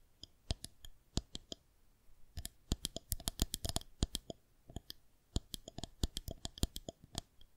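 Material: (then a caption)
Plastic. Long acrylic-style nails tap rhythmically on a white plastic rolling pin balanced on the fingertips of both hands. Each tap is a short, dry, bright click with almost no ring, coming in quick bursts separated by brief pauses, over a faint low background hum.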